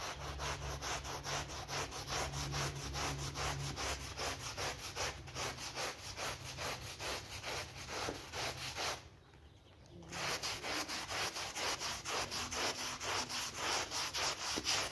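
A gloved hand scrubs a soapy dark blue synthetic pile rug, swirled with foam, using short strokes of a blue bristle brush. The result is a steady, bright, bristly scratching at roughly two strokes per second, with a brief quiet pause about two-thirds of the way through before the scrubbing resumes.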